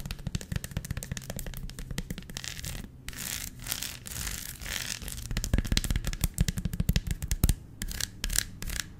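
Long nails scratch across the bumpy honeycomb surface of a large, flat, solid dark chocolate bar held flat in one hand. The result is a dense run of quick, dry clicks and ticks with a low, dull body, broken by a few brief stretches of bright, hissy scraping.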